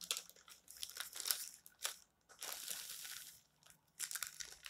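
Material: Glossy paper.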